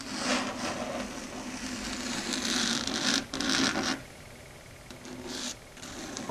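Long red stiletto nails scratch across a flat, solid dark grey chalkboard surface, heard close-up. A bright, raspy scraping with a steady squealing tone runs continuously and strongest through the first four seconds, then drops to softer, lighter scratching before swelling briefly again near the end.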